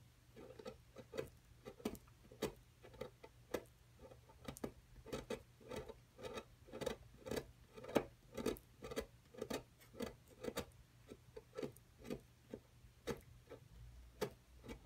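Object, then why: Plaster block worked with a metal chisel. A wooden-handled metal chisel tool scrapes and chips at a solid plaster excavation block as dust piles up. Short, dry scratching strokes repeat about twice a second at an uneven pace, each with a brief gritty crunch and bright edge. A faint steady low hum sits underneath.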